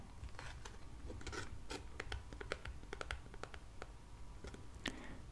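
Fingertips draw one card from a fanned spread of thin, flat, black-printed paper cardstock tarot cards on a wooden table, scratching and sliding along the card edges and over their surfaces. The result is a quiet run of dry, brief scratches and light ticks with bright, crisp edges over a soft low rumble.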